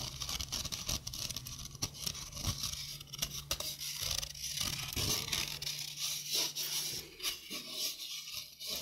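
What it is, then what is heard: Stainless steel mesh sink strainer. A stainless steel mesh sink strainer is held close to the mic while fingers and nails rub and scratch across the mesh. The result is a dense, bright scraping and scratching texture with rapid crackly taps and short, quickly decaying bursts. A faint steady low hum sits underneath.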